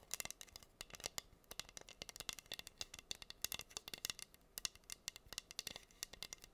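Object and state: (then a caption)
Rhinestone-covered wooden heart board. Long green nails scratch across the pink acrylic rhinestones covering a flat, solid wooden heart board. The result is a quiet, rapid stream of sharp, bright ticks and rattly clicks that stop dead, with almost no low end.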